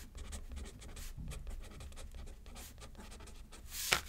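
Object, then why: Paper card on a paper pad, metal pen. A metal pen scratches across a thin paper card lying flat on a paper pad. Soft, steady writing strokes rasp through the clip with a low hum beneath. Near the end comes a louder, brighter scrape.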